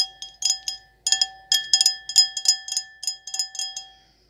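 An empty, clear stemless wine glass with an etched floral pattern is held in the hands and tapped with long acrylic nails in about fifteen quick, irregular taps. Each tap gives a bright, clicky strike over a steady glassy ring with a clear tone near 750 Hz and higher, brighter overtones. The ring lingers faintly after the last tap.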